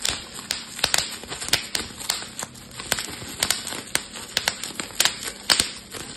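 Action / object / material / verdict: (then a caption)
flick / plastic bubble wrap sheet / plastic / none. A clear plastic bubble wrap sheet is crumpled and twisted while its bubbles are popped with fingertips and thumbs. Sharp, bright pops break out one after another over a steady crinkling rustle of plastic, each snap dying away almost at once.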